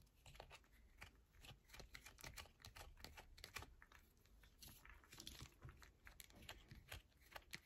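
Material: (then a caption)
Soap. A solid yellow bar of soap is held in both hands while long nails scratch along its edges and face. Quick, dry scratching and crisp tapping clicks follow one another in a fast, uneven stream, bright and close, over a faint low rumble.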